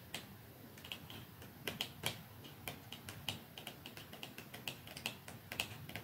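Long fingernails tap on a small, narrow, dark cardboard mascara box lying flat on top of a second, untouched box. The result is a quiet, irregular series of sharp, clicky taps with a bright ring around 2.8 kHz that dies away almost instantly. A few taps stand out louder than the rest.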